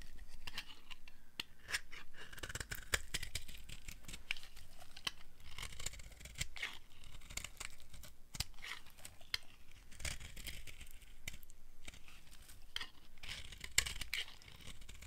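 A solid tan dry soap bar embossed "LEFIS" is held in the hand and scraped with a flat blade. The result is a steady run of quick, dry scraping and crumbly crunching strokes with bright, hissy edges over a low, muffled rumble. The strokes repeat unevenly throughout the clip.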